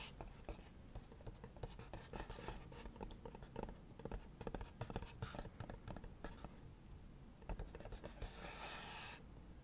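Long acrylic nails scratch and tap the lid and sides of a hollow leopard-print cardboard gift box. Quiet, dense run of short, dry taps and scratchy strokes with a low, hollow body, ending in a steadier, brighter rasping scratch.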